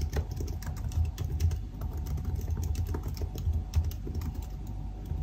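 Fingertips of both hands type continuously on the black plastic keys of a silver aluminium laptop keyboard. Quick, soft clicks and taps follow one another at an uneven pace, with short dry decays over a low, steady hum.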